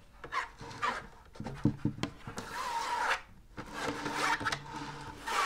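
Long nails scratch the smooth, white, stiff inner lining of a large hollow drum lampshade with a wire frame. Uneven bursts of dry, raspy scraping come with a hollow, resonant hum and some quick ticks. A bright hiss rises and falls with each stroke.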